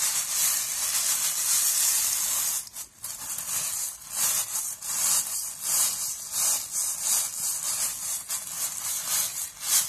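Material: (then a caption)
Steel wire. A round, palm-sized steel wool scouring pad of coiled wire is squeezed, crumpled and rubbed against a table surface by a hand. It makes a dense, bright scratchy rustle that swells and fades in uneven strokes. There is a brief near-pause just before the three-second mark.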